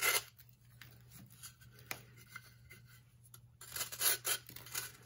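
A metal knife shaves layers off the face and lower edge of a solid, blue-tinted, hand-sized block of pressed baking soda, and powder crumbles onto the table. Bright, dry scraping and crumbling bursts open the clip and return more strongly in the last second and a half, with quieter rasping and a faint low hum in between.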